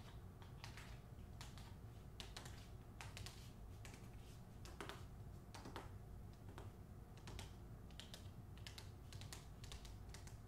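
Long acrylic nails tap and scratch the front cover of a closed hardcover novel, "The Hacienda," wearing a glossy paper dust jacket. Quick, dry, bright clicks and brief scratchy strokes come in uneven bursts over a steady low background hum.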